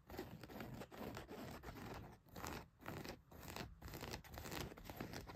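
Fingernails scratch the fabric of a blue denim jeans leg near the back pocket. Rough, broadband scratching comes in quick, uneven strokes separated by brief pauses, with a low rumble beneath the bright rasp of the fabric.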